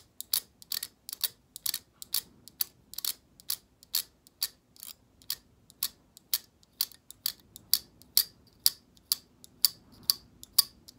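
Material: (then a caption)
Plastic. Long acrylic nails flick along the stiff plastic bristles of a black plastic hair brush held horizontally, producing about 26 quiet, bright ticks at a loose, uneven pace. Each tick is sharp and dry, dying away almost instantly with no low-end body.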